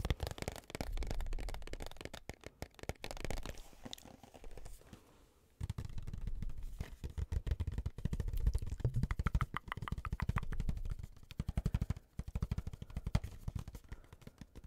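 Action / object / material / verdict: tap / small cardboard box / cardboard / none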